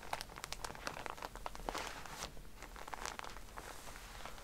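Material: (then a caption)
Plastic film. Fingernails tap on a pack of cotton pads in a plastic wrapper while hands squeeze it. The result is a steady run of sharp clicks mixed with soft, bright crinkling of the plastic, at a low, close level.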